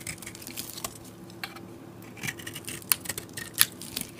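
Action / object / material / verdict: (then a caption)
scrape / bar of soap shaved with a blade / soap / none. A utility knife blade shaves flakes and chunks off the surface of a solid cream bar soap held in the palm. Soft, bright scraping and crisp cutting sounds repeat at an irregular pace over a faint steady low hum, with a couple of sharper snaps near the end.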